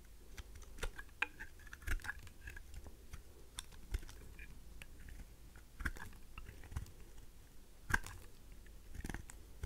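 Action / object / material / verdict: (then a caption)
scrape / bar of soap cut with a knife blade / soap / none. A faceted pink heart-shaped dry rose soap held in the hand is cut and shaved with a craft knife blade. Soft, crisp scrapes and small brittle crunches and clicks come irregularly over a low, quiet rumble. A few sharper snaps stand out as the blade bites through.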